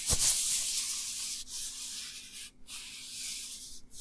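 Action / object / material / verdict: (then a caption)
scrape / nitrile rubber gloves / nitrile rubber / none. Dry, thin black nitrile rubber gloves worn on both hands rub and stretch against each other close to the recorder. The result is a continuous bright, hissy rubbing and squeaking texture that opens with a brief low snap and pauses briefly twice before resuming.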